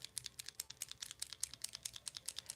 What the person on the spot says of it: If you shake them and you hear them ... that's one that you need to shake